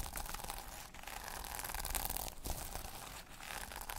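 Long nails brush and scratch across the reversible plastic sequins on a small sequin-covered notebook cover, flipping them to silver. A steady, dense crinkling and scratching rustle carries on throughout with brief dips, bright at the top with a low rumble underneath.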